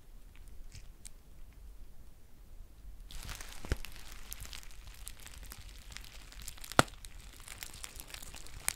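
A green foil tea pouch is held close while long nails crinkle and squeeze its edge. After about three seconds of faint, low rustling, a dense, bright crinkling begins, scattered with sharp crackles and one loud snap near the end.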